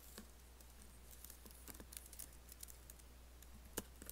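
An Apple laptop keyboard with black plastic keys and an aluminium body is typed on with fingertips while nails scratch along the space bar. Soft, scattered clicks and brief bright scratches come over a steady low hum, with one sharper tap near the end.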